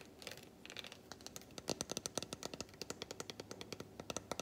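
Long white nails scratch and tap along the squares of a large unwrapped solid milk chocolate bar held in one hand. Soft, bright scratching gives way to a rapid series of sharp, dry clicks with almost no ring, each tap crisp and bright.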